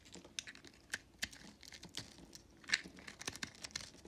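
A box-cutter blade with a red handle scrapes and shaves flakes off the surface of a hand-held, hand-sized, solid purple mottled recycled soap bar. The result is a quick, uneven run of short, dry, crinkly scraping strokes with a bright, papery texture and almost no low end.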